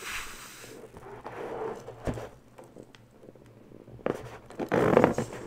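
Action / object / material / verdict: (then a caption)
scrape / inflated latex balloon / latex / none. A small inflated pink pearlescent latex balloon, hollow and air-filled, is held in the hands while long bare nails rub and scratch its surface. The result is soft, irregular scratchy squeaks and rubbing sounds with a midrange pitch, plus a few sharper taps. The clip ends in a louder burst of squeaky friction.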